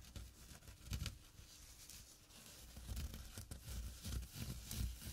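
Short nails scratch the coarse weave of a small, flat burlap drawstring pouch. The result is a quiet, dry, rasping scrape that comes in uneven bursts, with a soft low thud under a thin, bright hiss of fibers.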